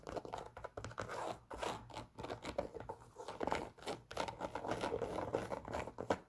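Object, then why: Leather sneaker with rubber sole. A worn, empty white leather Adidas Superstar sneaker with black stripes and a rubber sole is tapped and scratched with long nails on the leather and the rubber toe shell. Quick, dry, close scratching and tapping sounds are heard, mostly in the mid range, with no ring after each touch.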